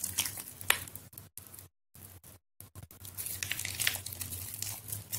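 A solid white bar of soap, softened by soaking, is held in both hands over a water-filled plastic basin and squeezed and pinched by fingers with long yellow nails until it breaks into mushy flakes. Soft, bright crackling and wet crumbling squishes come in bursts with a couple of brief silent pauses, and each crunch dies away almost at once.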